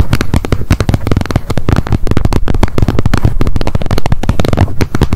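Long nail tips tap rapidly on the edge of the plastic lid of a wet wipes pack held upright. The result is a dense, continuous run of short, dry clicks with a dull, low-heavy thud and almost no ring after each tap.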